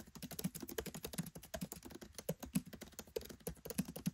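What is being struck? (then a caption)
Laptop keyboard with plastic keycaps. Fingertips type rapidly on a MacBook Pro 13 keyboard with black plastic keycaps set in an aluminium body. A quick, uneven stream of soft key taps sounds as short, dull clicks with a low, thuddy body and almost no ring.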